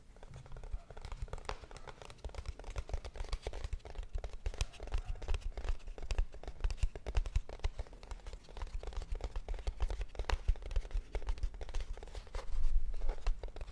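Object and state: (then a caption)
Cardboard box tapped and scratched. A small, hollow kraft cardboard box is tapped and scratched with long nails in a rapid, continuous stream of short, dull knocks and dry scraping. Most of the energy sits in a deep, hollow thud, and each tap dies away almost instantly. The tapping grows a little louder near the end.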